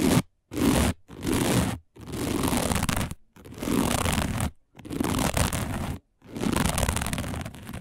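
Long nails scratch across a round, flat, dark woven plastic placemat in seven separate strokes with brief silences between them. Each stroke is a rough, crunchy, broadband scrape, fullest in the low-mids with a faint bright hiss on top.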